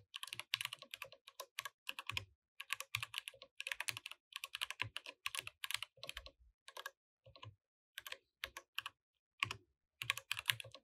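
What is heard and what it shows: Both hands type continuously with the fingertips on a compact mechanical keyboard with plastic keycaps. Bright, dry clacks come in quick bursts separated by short pauses, with a soft low thump under some keystrokes. Each click dies away almost at once, and the overall level stays quiet.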